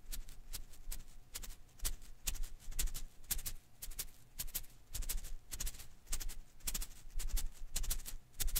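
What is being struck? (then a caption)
Rubber filament Koosh ball. A single blue and green Koosh ball made of thin rubber filaments is held in one hand while the thumb and fingertips flick its strands. This gives a steady, loosely irregular run of quick, bright, crackly snaps and rustles over a soft low rumble, each flick dying away almost at once.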